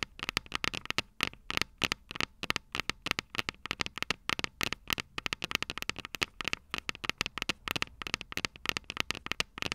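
Long purple nails tap the small, hollow, silver metal microphone capsules of a Tascam DR-05 recorder, making a rapid, uneven run of dozens of sharp, bright clicks. Each click is dry and stops at once with almost no ring or low end.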